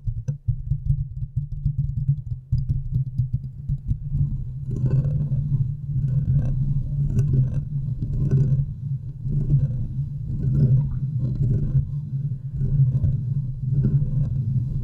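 Long nails of both hands scratch the hollow metal mesh grille of a large condenser microphone. The sound is a deep, boomy, rumbling scrape that swells in repeated irregular bursts, with scratchy crackle on top and almost nothing bright.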